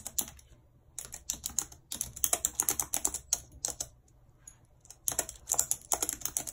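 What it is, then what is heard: Plastic computer keyboard. Very long red acrylic nails and fingertips type fast on the hollow keys of a full-size white and silver plastic keyboard with a numeric keypad, lying on a map. Bright, sharp plastic clicks and nail taps come in dense runs, broken by brief pauses, notably a longer quiet stretch near the middle. Each click is crisp and dies away almost instantly, with hardly any low end.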